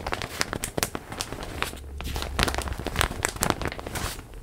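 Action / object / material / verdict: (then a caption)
scrape / plastic zip bag around a stuffed pillow / plastic / none. A large printed plastic zip bag holding a stuffed pillow is pressed close and crinkled and rubbed with hands and nails. Dense, sharp crinkles and crackles snap across a bright hiss, with a low rumbling rub swelling briefly in the middle.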